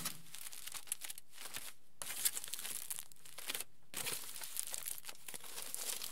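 A wrinkled sheet of aluminium foil lies flat and is pressed and rubbed by the fingertips of both hands. It makes a steady run of bright, crisp crinkling and crackling, broken by short quieter pauses around 2 and 3.7 seconds.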